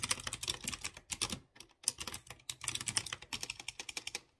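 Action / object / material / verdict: tap / mechanical keyboard with metal keycaps / plastic, metal / none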